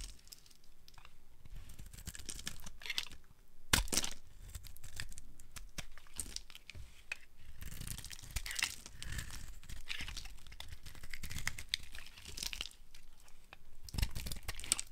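A metal blade carves a dry, solid, opaque yellow soap bar held in the hand, shaving off crunchy strips. The result is a steady, dense run of crisp scraping and crackling crunches with bright, brittle edges over a soft low rumble. A few sharper, louder snaps stand out near 4, 8.5 and 14 seconds.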